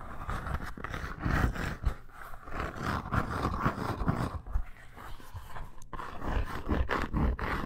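A red embossed faux leather bracer, curled into a tube and held in hand, is scratched with long nails. The sound is a dense run of rough, low scraping strokes with a rumbling, hollow body and little high end. The strokes come fast and overlap, rising and falling in loudness throughout.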